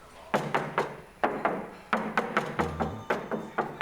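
A bare steel car roof panel, stripped of its useless factory and previous owner's sound pads, is tapped 14 times. Each tap gives a short, tinny metallic ring. This is the undamped panel ringing that a sound deadening mat is meant to suppress.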